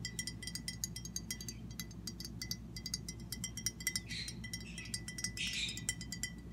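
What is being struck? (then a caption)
Glass sauce bottle. Long fingernails rapidly tap a hand-held glass Kikkoman Ponzu seasoning bottle, hollow and partly filled with liquid, producing bright, quick clicks with a short glassy ring near 2 kHz. Softer swishing brushes come through about two-thirds of the way in, over a steady low hum.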